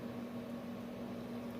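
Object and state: Nothing is struck.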